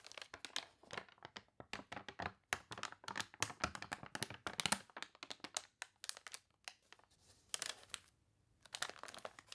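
Fingertips rub the thick, glossy, wavy pages of a paper toy catalog, turning and crinkling them. Dense bursts of bright, crunchy crinkling and crackling come in quick clusters, with a few short quiet gaps between handlings.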